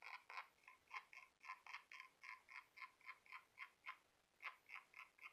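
Fingernails tap and scratch the smooth outer surface of a small glossy orange conch shell held in the hand. About 20 quiet, bright clicks come in a quick, somewhat uneven rhythm. Each has a brief ringing tone around 1 and 2 kHz that dies away almost at once.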